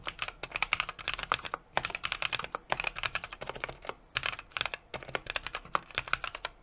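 Steady two-handed fingertip typing on a 60% mechanical keyboard with an aluminum case, brass plate and plastic keycaps. It produces a fast, uneven stream of short, bright clacks that die away almost instantly, with very little low end, and brief pauses between bursts of keystrokes.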